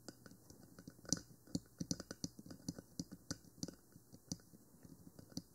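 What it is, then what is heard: Plastic microphone body tapped with fingernails. Long nails tap and scratch the top of a 3Dio Free Space, a small black plastic binaural microphone box with silicone ears. Quiet, sharp, clicky taps arrive in an uneven quick run, each with a dry low knock and a bright plasticky tick that dies away almost at once. Faint scratchy rustles fill the gaps between taps.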